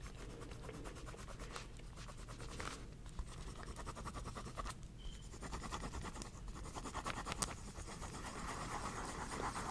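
A pink pen drags across the page of a small spiral-bound paper notepad with a pink cover, held in one hand, while writing and drawing. A soft, steady pen-on-paper scratching runs throughout, with short rubbing strokes, occasional brief bright ticks and a low background rumble.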